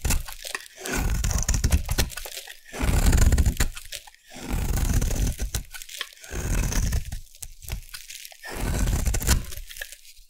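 A solid white bar of soap is held in the hand and scraped with a metal blade, shaving off crumbly flakes. Dense, low crunching scrapes come in four long swells, separated by short quiet gaps and overlaid with faint bright scratchy detail.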